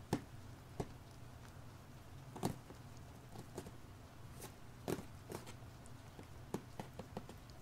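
Fingertips tap and scratch the front face of a small, hollow, printed cardboard LEGO Overwatch set box held in both hands. Sparse, short, dull taps ring out over several seconds, mixed with faint scratchy rustles. A low, steady hum runs underneath throughout.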